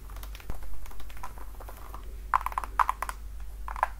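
Long dark nails tap and scratch the platform and toe of a worn red patent-leather platform high heel with buckled straps. Short, crisp taps ring around 1 kHz and die away almost instantly, mixed with soft scratching over a steady low hum.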